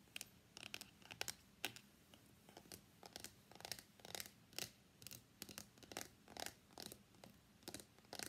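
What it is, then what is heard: Cardboard box tapped and scratched. Fingernails tap on the lid of a small, hollow, closed white cardboard iPhone X box, then fingers grip it and scratch along its sides. The result is a quiet series of dry, bright clicks and short scratchy bursts with almost no ring, over a faint steady low hum.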